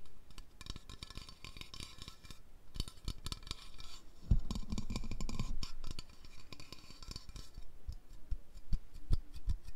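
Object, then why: Aluminium aerosol spray can. Long lilac nails tap and scratch a white aluminium aerosol deodorant spray can of about 150 ml, a hollow pressurized metal container. The result is a dense, uneven run of quick, dry clicks with almost no ring, over a bright scratchy hiss. A louder, fuller stretch of rubbing comes in the middle before the tapping eases back.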